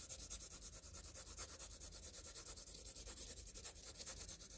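A green-and-blue wooden graphite pencil is scribbled back and forth across a flat sheet of squared graph paper lying on a surface, shading densely. Rapid, steady strokes make a continuous bright scratching and rubbing hiss that pulses with each stroke. A faint low hum sits underneath.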